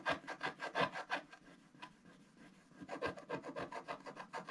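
A wooden stylus makes rapid hatching scratches on a flat black sheet of wax-coated scratch art paper, drawing gift boxes. Quick, rhythmic rasping strokes with a dry, bright scrape come in a burst, ease off into quieter light scratching, then pick up again in a steady run.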